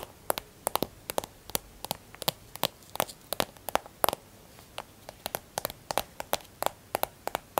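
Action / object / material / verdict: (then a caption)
tap / plastic hand cream tube / plastic / none. A white plastic hand cream tube is held and turned in the hand while long nails tap and scratch it. Dozens of sharp, dry, clicking taps land in an irregular rhythm, each dying away at once with a bright, crackly edge and almost no low end. Faint scratchy rustling fills the quiet gaps between them.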